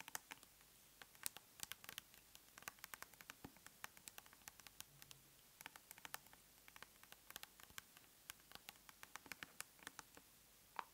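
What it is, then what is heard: Plastic cosmetic tub. Long nails tap rapidly and irregularly on the lid of a large round plastic tub of aloe soothing gel held up in the hand. The result is a quiet stream of dozens of sharp, bright clicks that die away instantly, with a faint hiss between them.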